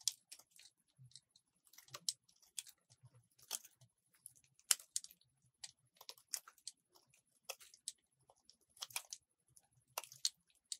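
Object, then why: Solid soap bar cut with a metal blade. A solid white soap bar, held in the hand, is cut into strips with a metal utility blade. About twenty quiet, crisp scraping cuts crackle out as short, bright crunches with almost no low end, and a faint steady high tone runs underneath.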